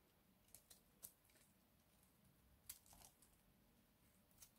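A hand-sized, solid oval bar of dry purple-and-white striped soap is held in the palm and scraped with a small box-cutter blade, with shavings falling off. Several short, crisp, dry scraping crunches with bright high-end hiss stand out over a quiet, low background.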